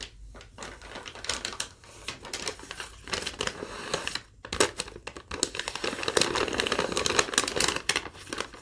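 A thin yellow lined legal-pad sheet is tapped and scratched along its surface by long nails, then crinkled. The result is a dense run of quick, dry, bright taps and scratchy rustles that build into a crackling crinkle, with very little low end.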